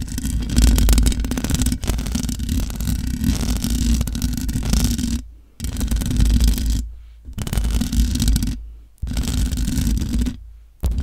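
Long nails scratch across the top of a large black microphone's hollow metal mesh grille. The result is dense, rumbling scraping, heavy in the low end with a faint crackly hiss above. It comes in five bursts separated by short silences, the last one cut off at the end.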